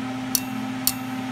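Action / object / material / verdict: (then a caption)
tap / welded steel gear with hardfaced surface / hardened steel / intact. A welded, chipped steel gear with a hardfaced surface, heated without being overheated, is tapped twice, giving two short, bright metallic ticks over a steady low hum. The sound shows the hardfaced surface is still intact and undamaged.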